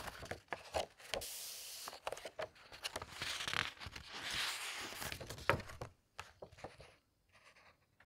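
Fingertips with long red nails press flat and turn the glossy paper pages of a large, thick hardcover book with a teal cover lying open on a table. Bright, crinkly rustles and airy swishes of paper sweep across the pages, punctuated by sharp little ticks and taps. The sounds thin out into a few soft, sparse touches at the end.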